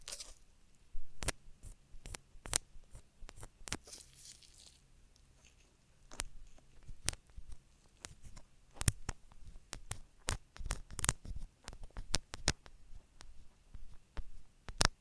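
Gloved fingers hold a black, solid soft silicone rubber ear on a binaural microphone while a thin wooden stick scratches inside its ear canal. The result is an uneven series of sharp, bright scratching and crackling clicks over a quiet, low steady hum, with brief pauses between bursts.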